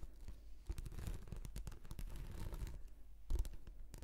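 Long nails scratch a rolled, translucent, textured plastic anti-slip mat shaped into a hollow tube. The result is a soft, continuous crackly scratching made of dense dry clicks over a low hollow rumble. It swells briefly louder near the start and again toward the end.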